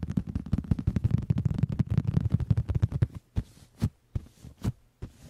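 Fingertips and palms tap and pat the surface of a large, cushioned, brown leather (or faux leather) upholstered headboard, with the recorder resting on top of the headboard. A rapid, dense run of soft, deep, low-pitched thumps lasts about three seconds, then slows to about six separate, heavier pats with quiet gaps between them. Each thump is muffled and dies out almost at once, with hardly any bright content.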